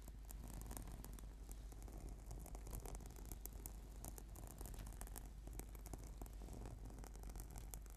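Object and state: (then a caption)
Foam yoga mat. Fingernails scratch and fingertips tap rapidly on a flat, purple, sticky PVC foam yoga mat. The result is a quiet, dense stream of soft scratchy rasps and light taps, with brief bright ticks over a steady low hum.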